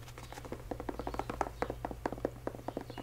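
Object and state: Canvas high-top sneaker, fingertip tapping.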